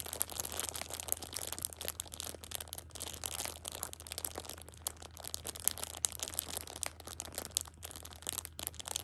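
A plastic-wrapped six-pack of pocket tissues is held upright in one hand while a thumb with a long pink nail presses and crinkles the plastic film. Bright, dense crackling and crinkling runs throughout in quick, sharp bursts, with a steady low hum underneath.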